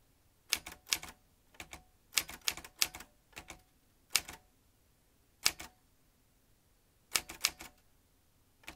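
A vintage metal manual typewriter has its keys tapped with fingertips, giving bursts of sharp, bright clacks in short clusters separated by brief pauses. Each strike is crisp and dies away almost instantly, with a faint metallic ring and very little low end.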